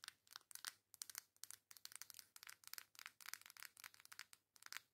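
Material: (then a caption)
Cardboard. Long acrylic nails tap and scratch the flat back side of a coral cardboard face makeup palette. The result is a quick, dense run of dry, bright clicks and scrapes with almost no low end and no ring.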